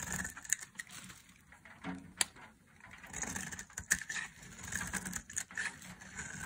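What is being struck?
Bar of soap shaved with a metal blade.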